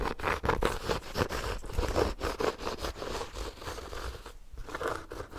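Fingernails scratch the textured cover of a small, solid, ornate embossed hardcover notebook held in front of the microphone. Quick, irregular rasping strokes, about ten of them, give a dry crackling texture with a soft low thump under each pass. A brief lull comes near the end before the scratching resumes.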